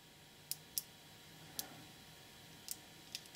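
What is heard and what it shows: A cluster of small, solid, nickel-plated neodymium magnetic balls, about 5 mm each, is held in both hands while fingertips pull balls off and snap them back onto the block. Six sharp, bright, metallic clicks ring out, spaced irregularly with a quick pair near the end, each dying away almost instantly over a faint background hiss.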